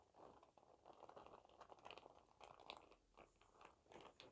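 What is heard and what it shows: A clear printed plastic shower cap is spread out by hand and crumpled and crinkled with the palm and fingers. Soft, continuous crackling sits mostly in the midrange, with brighter, sharper crinkles popping through now and then. The sound stays quiet throughout, rising and falling in uneven bursts.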